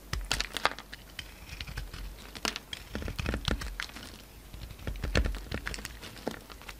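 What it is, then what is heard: Bar of soap being carved. A solid lilac soap bar with a glittery silver coating, held in the hand, is carved and shaved with a utility knife blade, and crumbly pieces fall off. Dense, irregular runs of short, dry crackling and scraping clicks with bright edges follow one another, with quieter gaps between bursts and almost no ring after each cut.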